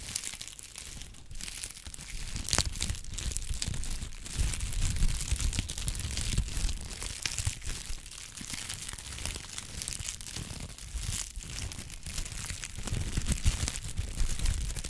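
A brown honeycomb kraft paper sheet is rubbed, folded and crinkled with the fingertips, giving a steady stream of dense crinkling and crackling. Bright papery rustle rides over a low rumbling undertone, with sharper crackles breaking through now and then.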